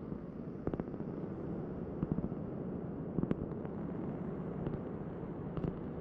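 A large, thin, solid round cork board held in both hands is tapped with long nails and fingertips. Soft, dull taps land in short clusters over a steady low rumble, each one dying away almost at once.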